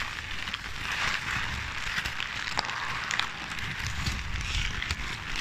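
A ball of crumpled paper is squeezed and crinkled by hand against the side of the microphone. A steady, dense crackling rustle fills the clip, bright and papery with a low rumbling thump underneath, and scattered sharper crackles pop out along the way.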